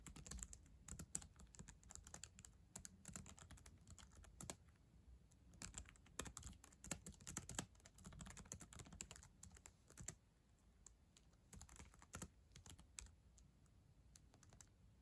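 Long acrylic nails tap and type across the plastic keyboard of a black ThinkPad laptop resting on a yellow blanket. Rapid bursts of crisp, bright clicks sit over soft low thuds, each tap dying away almost instantly. The typing runs in uneven flurries with brief lulls, quieter stretches coming after about ten seconds.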